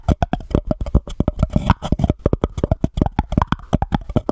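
Long painted nails tap and scratch the top and sides of a small, empty white embossed paper cup placed over the microphone. Around thirty quick, dull, hollow taps land close together with a low, boomy body. A short scratchy stretch sits in the middle, and each tap dies away almost instantly.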